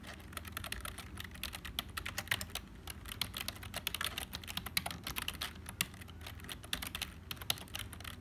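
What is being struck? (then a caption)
Plastic computer keyboard. Fingertips of both hands type fast on a black HP plastic membrane keyboard with hollow keys. The result is a dense, steady stream of short, dry, hollow clicks with bright tops around 3.7 kHz and a faint low rumble underneath. Each click dies away almost instantly.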